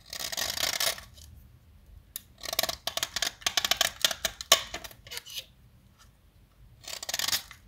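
A metal utility knife blade shaves and carves a small solid yellow chalk stick held in a hand with long nails, chalk flakes falling away. A bright, dry scraping opens the clip, followed by a quick run of short, crisp cutting clicks and scrapes. A final brief scraping pass ends it.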